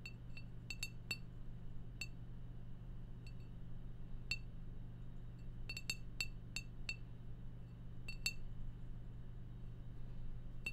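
A glass beer bottle is tapped repeatedly at irregular intervals, each tap a short, bright clink ringing near 2.7 kHz that dies away almost at once. A steady low hum sits underneath throughout.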